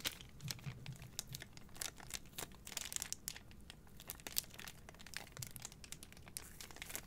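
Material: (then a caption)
Plastic film. A bundle of three white cardboard deodorant boxes in clear plastic wrap is turned in the hands while long nails crinkle and rub the wrap. Dense, bright crinkles and crisp rustles come in quick, close bursts over a faint low handling rumble, with each sharp crackle stopping almost instantly.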